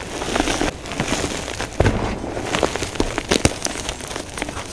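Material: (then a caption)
Chalk. Hands squeeze, scoop and crumble handfuls of crushed blue and pink dyed gym chalk powder with small chunks in a container. The result is a dense, continuous crunching and crackling, with sharp bright snaps standing out from the gritty texture.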